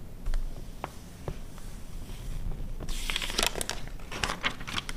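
A glossy paper car magazine from 2009 lies open while long red nails scratch and tap its pages, giving soft taps and crinkles over a low rumble. After about three seconds the pages are flipped, and bright rustling and crackling swell through the end.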